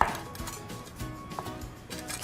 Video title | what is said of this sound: Cooking 011 | can hear how crispy those edges are